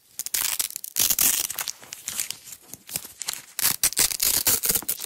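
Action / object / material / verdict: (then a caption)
scrape / nylon hook-and-loop strap / nylon / none. A yellow nylon hook-and-loop (Velcro) strap roll is held in the hands while its layers are peeled apart and pressed together with long acrylic nails. Loud, bright rasping tears come in bursts, with the softest stretch in the middle, and the sound is almost entirely high-pitched with very little low end. Each rip stops dry, with no ring after it.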